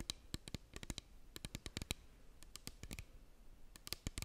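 A small clear plastic bottle with a cap, partly filled with liquid, is held in both hands and tapped with long nails close to the microphone. Quick, sharp clicking taps come in uneven bursts, each dry and short with a bright edge and a soft low thump beneath.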